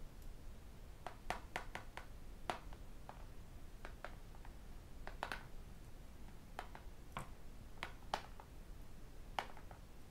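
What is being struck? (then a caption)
Tablet with aluminium back and glass screen. A tablet with an aluminium back and a glass screen has its edge and screen tapped with fingertips and metal rings. Quiet, sharp, bright clicks arrive in irregular bursts, each dying away almost instantly, over a low, steady rumbling hiss.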